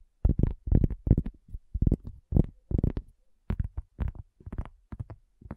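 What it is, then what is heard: Cork coaster. A cork coaster is tapped in quick, uneven bursts of short taps. Each tap is a dull, low thud that stops almost at once, with nearly all its energy in the deep low end.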